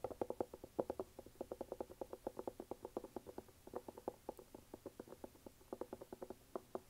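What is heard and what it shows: Fingernails tap and scratch quickly on the brown rubber outsole of an empty red canvas sneaker. About 40 short, dry, hollow ticks run in an uneven rhythm, centered around 530 Hz with almost no ring. The clip is quiet and has no deep bass or bright top.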